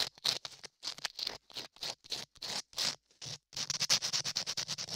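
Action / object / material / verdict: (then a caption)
scrape / modeling clay ear over a microphone, sanded with sandpaper / clay / none. Latex-gloved fingers rub a small piece of sandpaper over a solid beige modeling-clay ear sculpted onto a 3Dio binaural microphone. The result is a close, dry, bright scratching: about two dozen short, irregular sanding strokes, with brief silent gaps at first, then a denser run of strokes near the end.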